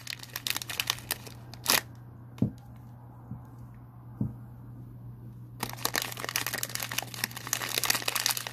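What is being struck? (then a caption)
Foil-laminated paper pouch. A small white POP MART blind-box pouch of foil-laminated paper, holding a figure, is crumpled and rubbed between fingertips. Bright, dense crinkling opens the clip, then fades to a quieter stretch with a few soft low bumps, before sharp, crackly crinkling resumes and continues to the end. A steady low hum runs underneath throughout.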